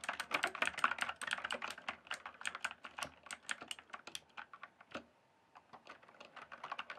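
Fingertips type and tap on the keys of a full-size RGB backlit plastic mechanical keyboard with a hollow case. A fast, dense run of short, bright, clacky keystrokes with almost no ring fades to a brief pause near the five-second mark. Then quieter, sparser taps resume.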